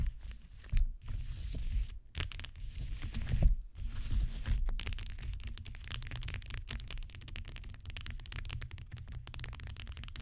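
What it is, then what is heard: Metallic leather high-heel shoe. Long green nails on both hands tap and scratch the gold upper of a metallic gold leather high-heel shoe with a teal heel and black sole, standing upright on a cloth-covered table. Dense, dry scratching and crackling runs throughout, broken by quick soft taps over a steady low rumble.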